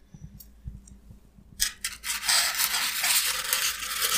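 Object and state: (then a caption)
Styrofoam block being scratched. A solid, hand-held piece of white expanded polystyrene (styrofoam) has its rough broken surface scratched and picked at with fingernails. Faint soft ticks come first, then a sharp bright crackle at about 1.6 seconds. From about two seconds, a loud, dense, high-pitched squeaky scratching continues to the end.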